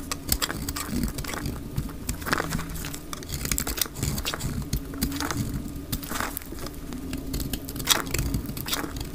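A pale cream, solid rectangular dry soap bar held in the hand is shaved with a snap-off utility knife blade, its curling flakes piling onto a grey cloth. Sped up to double speed, it gives a steady run of quick, dry scraping crackles with bright edges over a low rumbling bed.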